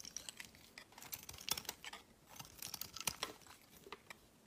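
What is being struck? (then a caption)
Bar of soap cut with a knife blade. A utility knife blade shaves along the edge of a solid, hand-sized, cream-white rectangular soap bar. The sound is a quiet, dense run of crisp, bright scraping crackles and tiny clicks, with almost no low end and no ring after each cut.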